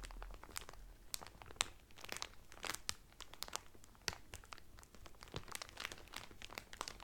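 Fingertips and medium painted nails press and crinkle the loose, thin clear cellophane sealing a folded blue terry Carnival towel that lies flat on a table. The result is a steady, quiet stream of bright, dry crackles with frequent sharp, quick snaps that cut off almost instantly.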